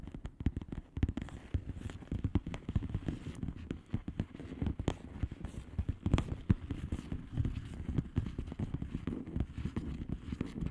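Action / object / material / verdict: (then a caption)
tap / plastic bubble wrap envelope / plastic / none. Long manicured nails rapidly tap and occasionally scratch a flat plastic bubble wrap mailer with hollow air bubbles. The taps are quick, soft and dull, with most of their energy low and almost nothing bright. They form a steady crackling patter with short, dry strikes and no ring.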